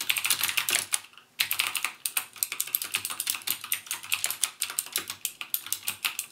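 Fingertips type rapidly on the clicky Cherry MX Blue switches of a backlit plastic mechanical gaming keyboard, producing dozens of sharp, bright clicks with almost no low end. The keystrokes come in quick bursts, with a brief pause around the one-second mark before the typing resumes steadily.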